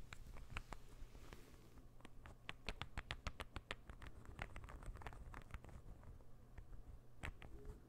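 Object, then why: Small wooden interlocking ball puzzle. A small, solid, assembled light-wood interlocking ball puzzle is held in one hand while the fingernails of the other hand scratch and tap it. The result is a quiet, dense patter of short, dry, bright clicks and light scratching, each click dying away almost at once, over a steady low hum.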